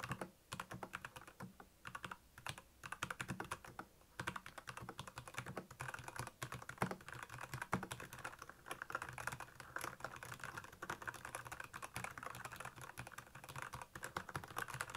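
Fingertips type quickly on the backlit keys of a black plastic Royal Kludge mechanical keyboard. The result is a dense, steady stream of short, crisp clacks with a low thocky body, each dying away almost at once.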